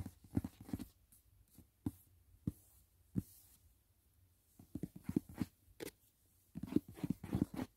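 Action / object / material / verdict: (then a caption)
tap / rigid paperboard gift box / cardboard / none. Fingertips and nails tap and scratch the lid and edges of a closed, rigid white paperboard gift box for a Dashing Diva nail set, resting on a bed. Soft, dull, low taps with no ring come in quick clusters at the start and end, with a few isolated taps and faint scratchy rustles in the quiet stretch between.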